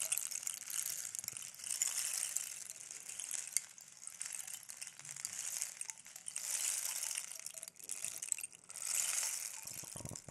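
A long, hollow wooden rain stick is held upright and turned and tilted by hand, sending its fill cascading inside. This makes a bright, hissing patter of many tiny overlapping ticks that swells and fades in waves. Several quieter dips fall between the surges.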